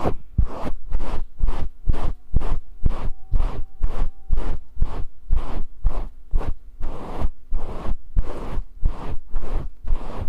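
Fingers stroke and scratch the fibers of a fluffy grey faux fur windscreen over a small microphone. About 19 rapid, rhythmic bursts of broadband brushing and scratching come roughly twice per second, each with a heavy low rumble and bright, airy hiss. A faint, steady hum sits underneath.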